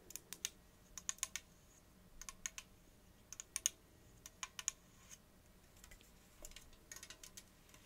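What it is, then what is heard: Aluminium drink can. Long acrylic nails tap rapidly on the side of an unopened-looking gold 330 ml Diet Coke aluminium can. The result is bursts of sharp, bright, very short clicking taps in quick clusters with quiet gaps between them, and almost no low end.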